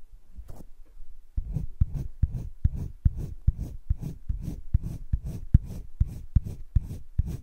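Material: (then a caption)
Paper. A green colored pencil is stroked back and forth across thick cream drawing paper in a spiral sketchbook, shading. After a quieter first second, soft, dull scratching strokes follow in a steady back-and-forth rhythm, each a brief low, papery rasp.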